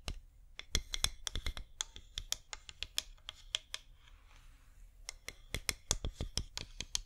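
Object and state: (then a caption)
Wax pillar candle tapped and scratched with fingernails. A cream flameless wax pillar candle, about 15 cm tall with a scalloped top rim, is held in both hands and tapped and scratched with long painted fingernails. A quick, uneven run of sharp, bright clicks and taps is heard, with a softer scratching stretch in the middle. Each tap dies away almost instantly over a faint low hum.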